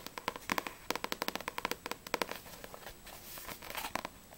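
Long nails tap quickly on the glossy card cover of a single Blue Exorcist vol. 2 paperback manga with solid paper pages, first on the front cover, then on the back. The taps are short, sharp clicks with a bright ticking tone around 1 kHz, falling into a softer, scratchier patter in the middle before crisp taps return.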